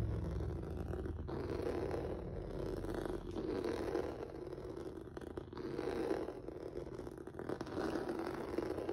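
Fingertips and nails scratch across a flat black rubber or vinyl mat with a textured noodle surface. The result is a steady, soft, scratchy rustle centred in the low mids, swelling and easing in slow waves with faint clicks throughout.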